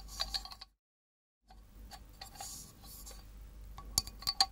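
A small, hollow, miniature galvanized tin milk can, held by its wire handle and in the hand, is tapped with long nails. The result is light, bright metallic clinks with a short ring, then a brief silence, then faint rustling before a few sharper taps at the end.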